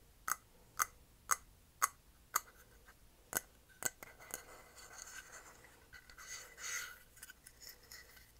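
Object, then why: Small painted wooden block sign. A small, rectangular, solid wooden block sign with painted lettering and a paw print is held in the hands and worked over its surface with the fingernails. Seven sharp, bright fingernail taps come at a steady pace, then give way to softer, uneven scratching and rubbing across the wood. The sound is dry, with almost no ring and little low end.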